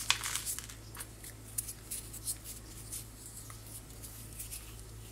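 A small, solid white chalky powder block held in one hand is crushed and crumbled by fingertips with long white-painted nails, letting fine powder fall from the hand. Quiet, bright, dry crackles and gritty crunches come in quick, irregular bursts, strongest at the start and then thinning out over a steady low hum.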